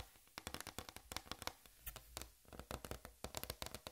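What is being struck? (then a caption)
Flat plastic tray. Long red fingernails tap and scratch a large, flat white plastic tray with a raised rim lying on black fabric. Around two dozen quick, dry, bright clicks land in uneven bursts, each dying away almost at once, with a soft scratchy rustle filling the gaps.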